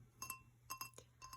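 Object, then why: Glass drinking tumbler. A vintage Burger King Star Wars drinking glass tumbler is tapped seven times, in loose pairs and a single tap. Each tap gives a quiet, bright glassy clink with a short ring near 1 kHz and 2.7 kHz over a steady low hum.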